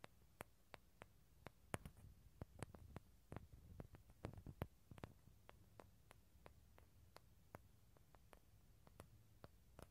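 Fingertips and nails tap and scratch the surface of a small, hollow, halved dried bottle gourd with a light tan shell, held in both hands near a stereo recorder. A steady run of quiet, sharp clicks with almost no ring sounds over soft scratching and a low background hum.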